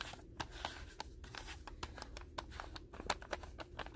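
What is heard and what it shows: Fingertips and short nails tap and scratch the white paper wrapper of a solid, densely filled rectangular pack of 200 non-sterile gauze pads with a blue label, lying on a table. A quiet, rapid series of sharp, dry taps is heard over a soft papery scratching, each tap cutting off almost instantly with no ring.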